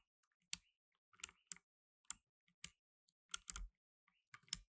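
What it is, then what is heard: Plastic mechanical keyboard. Blue nitrile-gloved fingertips type on a black tenkeyless mechanical keyboard with plastic keycaps. About nine sharp, bright clicks with brief low thumps sound at uneven intervals, each dying away almost instantly into quiet.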